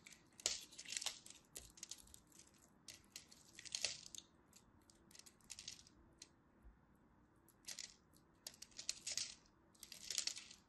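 A craft blade scrapes and chips the scored end of a solid purple-and-white striped dry soap bar, sending flakes falling onto a pile. Quiet, bright, crisp scratching bursts come in uneven clusters with short dry crackles and almost no low end.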